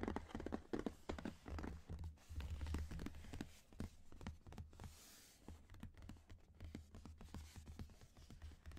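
Fingertips and short nails scratch and rub across the printed closed lid of a medium black Loot Crate cardboard shipping box that seems hollow, making quiet, irregular dry scratching and rustling with a dull, low-heavy body. Toward the end the box is tilted or lifted open, and the scraping continues more softly.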